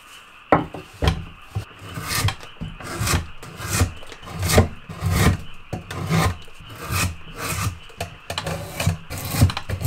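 A steel drawknife is pulled repeatedly along a solid, freshly cut green wood branch about as thick as a forearm, clamped in a shaving horse, scraping off bark and shaving the pale wet wood underneath. Each stroke makes a rough, rasping scrape with a low, woody rumble and bright bursts of hiss. The strokes come in a steady, uneven rhythm, each ending quickly with almost no ring.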